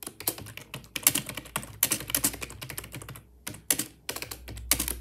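Fingertips type continuously on a wireless, full-size, black plastic Microsoft ergonomic keyboard with a hollow body. Fast, bright, clacky keystrokes come in dense bursts, with a brief pause around the three-second mark. A faint low hum sits underneath throughout.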